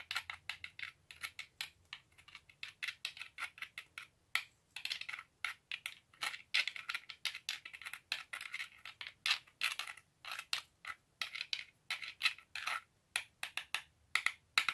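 Two whole, solid, hard-shelled walnuts are held one in each hand and knocked together over and over to crack them, above an open plastic bag of walnuts. The result is a fast, uneven series of sharp, dry clicks and knocks with a bright, crackly tone centered around 2 kHz. Each hit dies away almost at once, with no low-end weight.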